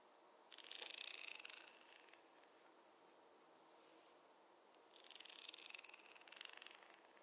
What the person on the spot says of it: the contrast between the soft hair sounds with the wooden tapping sounds